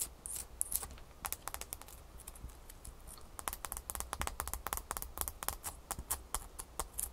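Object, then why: Small ice cube scratched with fingernails. A single small solid ice cube, held in one hand, is scratched quickly with long fingernails. It makes a rapid series of sharp, bright, clicky scratches, some faster than others, over a steady low hum.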